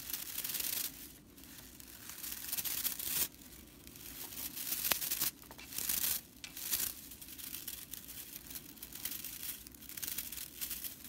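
Long nails on both hands scratch and flick the dry fibers of a broomcorn straw whisk broom's bristle fan. The result is a bright, dry crackling rattle that comes in dense bursts, swelling and dropping away with brief quieter gaps in between.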